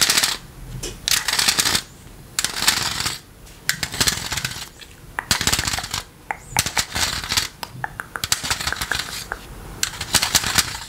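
A green plastic electric fly-swatter racket with a metal wire mesh face is held up close while rubber toy hands worn on the fingers tap and scratch across the mesh. Bursts of bright, dry clicking and scraping are broken by short pauses, and each tap dies away almost at once.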